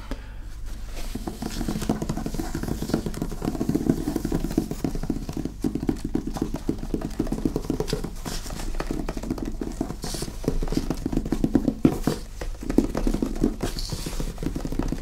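Fingertips and nails tap rapidly on the cover and top edge of a thick, solid hardcover book with an illustrated paper dust jacket, held upright in both hands. The tapping is a dense, continuous patter of short, dull knocks centered in the low-mid range, each dying away almost instantly with very little brightness.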